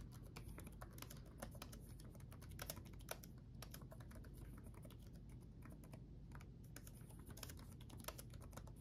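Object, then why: Plastic laptop keyboard keys. Both hands tap rapidly with their fingertips on the backlit chiclet keyboard of a black laptop, its plastic keycaps set on a solid chassis. A quiet, continuous stream of short, light, crisp clicks with brief bright edges sits over a steady low rumble.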